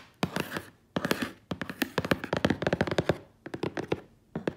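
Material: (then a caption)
Cardboard. Long acrylic nails and fingertips scratch and tap the large, flat side of a hollow, brown corrugated cardboard box. Short bursts of rough, papery scratching alternate with quick runs of dry, hollow taps that stop dead with no ring.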